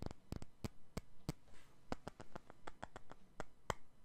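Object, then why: Glass perfume bottle. A clear glass perfume bottle is held in both hands and tapped and scratched with the fingertips and nails. About sixteen short, dry clicks and taps land at an irregular pace, with a faint scratchy rustle between them. The taps die away almost instantly, with no ring.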